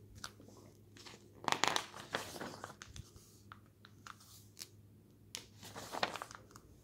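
Fingertips lift and flip a single page of an open glossy paper magazine showing a travel photo spread. The result is soft, papery rustling and crinkling with brighter swishes as the page turns over, set against a faint, steady low hum.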